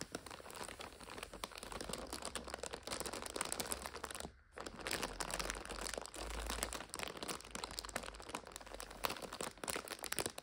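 Long nails and fingertips scratch, tap and squeeze a full purple and red plastic-wrapped multipack of five instant noodle packets resting on a sofa. The result is a dense, continuous, bright plastic crinkling and crackling, broken by a brief quiet pause just past the four-second mark.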